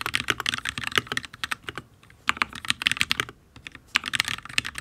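A full-size HyperX Alloy Origins RGB mechanical keyboard with Fire switches and ABS keycaps on a steel plate is typed on with the fingertips of both hands. Rapid, bright, clacky key taps come in quick bursts with very short ring, pausing briefly around the two-second mark and again near three and a half seconds. The typing sounds solid.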